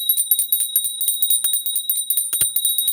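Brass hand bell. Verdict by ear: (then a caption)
Damaged. A brass puja hand bell that a child dropped is shaken back and forth, giving about ten quick, bright, jangling strikes over a steady high metallic ring. Each strike dies away quickly instead of ringing on, showing the bell's tone has changed since the fall and it no longer rings properly, unlike another bell it is compared with.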